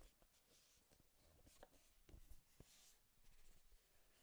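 Long nails tap and scratch the faces of a small, hollow, printed cardboard Game Boy box held in both hands in front of a microphone. Very quiet, dull, low thuds mix with faint, bright scratchy rustling. The taps are short and die away almost instantly.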